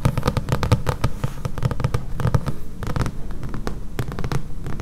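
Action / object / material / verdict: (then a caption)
tap / thick paperback book with a glossy card cover / card and paper / none. Long painted nails tap rapidly on the back cover of a thick paperback book, glossy card over solid paper pages. The result is a steady stream of close, dull, low-pitched taps that die away almost instantly, with little high-end brightness.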